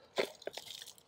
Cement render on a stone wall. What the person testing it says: Et ici, ça sonne creux